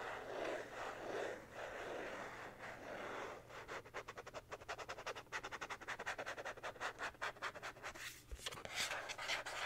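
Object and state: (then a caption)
Plastic card being scratched. A thin, rigid white plastic card with a slot punched near its top edge is held in both hands and rubbed and scratched with fingertips and short nails. It opens with a soft, continuous rubbing hiss, then turns into a quick, uneven run of short, bright scratching strokes. The sound is quiet and dry, with each stroke dying away almost at once.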